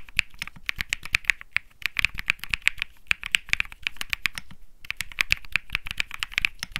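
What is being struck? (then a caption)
Mechanical keyboard with plastic keycaps. Both hands type rapidly with their fingertips on a Think 6.5 65% mechanical keyboard with Bsun Lollipop switches and plastic keycaps. The result is a fast, steady stream of crisp, bright clacks centered around 2–3 kHz, each dying out almost instantly. There is a short pause just before the five-second mark.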